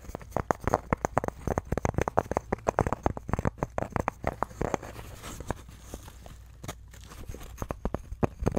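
A handheld wooden rabbit chew toy, about 15 cm, made of green-painted flat wood panels tied with twine, with a frame of natural twig sticks and green wooden beads, is held in both hands while fingertips and short nails scratch and tap the panels and sticks. Dozens of quick, dry wooden clicks and taps come in a rapid, busy stream for the first five seconds, then thin out to sparser taps over a soft low hum.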